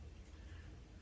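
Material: Nothing is struck.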